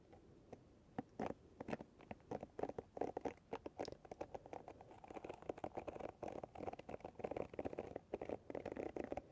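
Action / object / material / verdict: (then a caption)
scrape / paddle hairbrush with plastic pins / plastic / none. Long nails and fingertips repeatedly flick and scratch across the pins of a paddle hairbrush held with its pins facing outward. The result is a quiet, dense patter of short, dry clicks and scratchy rasps centered in the low mids. The flicks start as scattered snaps and run together into a steadier scratching texture in the second half.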